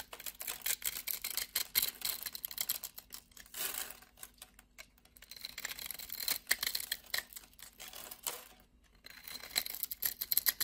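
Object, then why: Soap bar scraped with a knife blade. A utility knife blade scrapes small pieces off a solid dark grey black soap bar scored in a diamond grid. The result is a rapid run of crisp, bright, dry scraping clicks with almost no low end, coming in busy bursts separated by brief quieter pauses.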